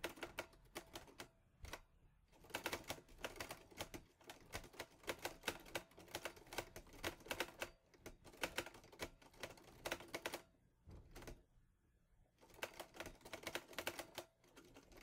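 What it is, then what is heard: Metal portable typewriter being typed on. Fingertips of both hands type on the keys of a teal metal Olivetti Lettera 22 portable typewriter. Rapid bursts of crisp, bright clacks with very short ring come in runs, with brief pauses near 2 and 8 seconds and a longer lull around 11 to 12 seconds before typing resumes.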